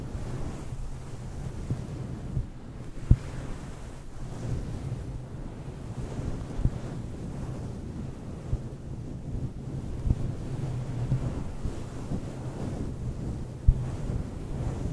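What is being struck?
Synthetic fur microphone windscreen.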